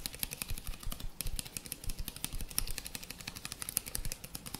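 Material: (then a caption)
Plastic. A small, hollow white plastic cosmetic bottle with a pink base and green label is held in one hand and tapped rapidly with the fingertips of the other. The result is a quick, uneven patter of dry, hollow taps, each a soft low thump with a bright clicky edge that stops instantly with no ring.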